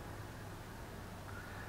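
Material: Nothing is struck.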